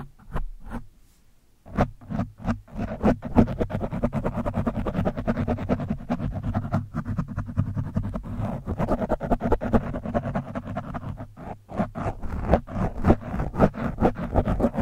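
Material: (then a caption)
Foam. A screwdriver shaft, held vertically, pokes and scratches the top of an orange foam microphone windscreen. The result is dense, muffled, bass-heavy scratching and thumping crackle. A few separate taps at the start lead into continuous rubbing, with a brief lull near the end.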